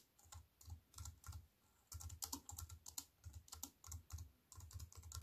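Fingertips with long white nails type on a compact wireless keyboard with black plastic keys on a silver aluminium frame, resting on a wooden table. Quick bursts of key clicks, each with a low, soft thump and a bright, crisp tick, follow one another with a few short pauses between runs.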